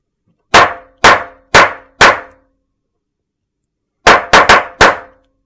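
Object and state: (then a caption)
Soap slab struck with a metal mallet. A large, flat, solid white slab of soap is struck with a metal meat tenderizer mallet. Eight sharp knocks land in two groups of four, separated by a pause of about two seconds, with the second group coming faster. Each knock has a bright attack and a short ringing tail that fades quickly.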